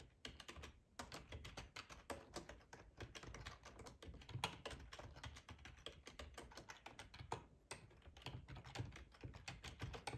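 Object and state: Plastic computer keyboard.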